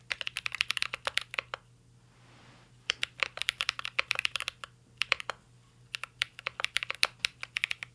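Fingertips of both hands type on a full-size CYBERBOARD R3 mechanical keyboard with an aluminum case, plastic keycaps and Holy Panda switches. Dozens of short, sharp, bright key taps come in quick bursts, with brief pauses near the 2-second and 5.5-second marks, over a faint steady low hum.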